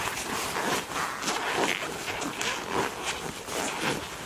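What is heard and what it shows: Hands squeeze the rolled sleeve of a black leather (likely faux) jacket, then rub and grip its front panel with fingertips and nails. The result is a steady, continuous stream of soft creaks, crinkles and bright scratchy rustles with small irregular swells.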